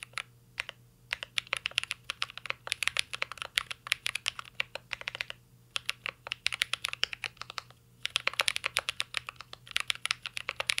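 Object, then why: Mechanical keyboard with plastic keycaps and metal case. Fingertips type continuously on a mint-green Cyberboard R3 mechanical keyboard with a metal case and plastic keycaps. Crisp, bright clacks arrive in quick, uneven bursts with brief pauses, each tap dying away almost instantly. A faint low hum sits steadily underneath.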